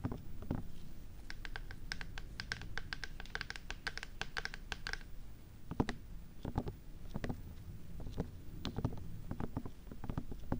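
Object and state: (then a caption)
Silicone ears of a binaural microphone. Long fake red-tipped nails tap and scratch around the white silicone ear shapes of a 3Dio binaural microphone with a black plastic body. Quiet, dry, close-up clicks and scuffs sit over a low, muffled rumble, with a fast run of bright ticking taps for the first five seconds. Sparser knocks and scratches follow until the end.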